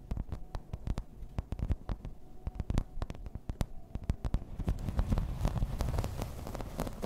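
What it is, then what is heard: Plastic placemat tapped and scratched. Long red nails tap fast and scratch across a thin, solid, grey embossed plastic placemat. Quick, sharp clicks come in a steady patter over a dull low rumble. In the second half a denser, rougher scratching builds in and grows slightly louder.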